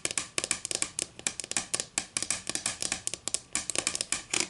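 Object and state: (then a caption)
Wooden ruler. Long green acrylic nails scratch, rub and tap along the top edge of a solid, flat wooden ruler. The result is a rapid, uneven series of crisp, bright clicks and scrapes that die away almost instantly, with almost no low end.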